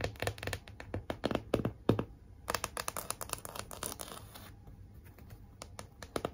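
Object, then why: Cardboard heart sign with glitter lettering. Long nails scratch and tap across a large, flat pink cardboard heart sign and its glitter "Be Mine" lettering. Quick dry taps and rasping scratches come in uneven bursts, with short bright crackles over a low thud. Each sound cuts off almost at once, and the clip ends in softer, sparser scratching.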